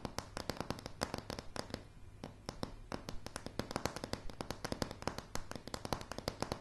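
Long dark polished nails of both hands tap fast on solid light pine floorboards. A rapid, uneven stream of short, dry clicks carries a low woody thump beneath bright tips. Each tap dies almost instantly with no ring.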